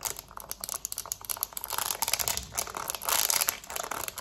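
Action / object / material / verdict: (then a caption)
tap / plastic TV remote / plastic / none. Long nails rapidly tap and scratch the buttons of a black plastic TV remote held in a hand. The result is a dense, bright stream of dry clicks and crinkly scratching with almost no low end. Each tap dies away instantly.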